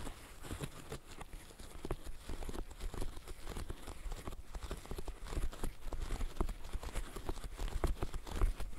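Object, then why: Silicone pop-it fidget toy. Fishnet-gloved fingertips press the bubbles of a green silicone bird-shaped pop-it fidget toy. The result is a steady run of soft, dull, low pops that end quickly, each one a short muffled thud with no ring.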